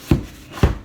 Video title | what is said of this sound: Project Sourdough | With bread, you normally tap the bottom. Sounds nice and hollow.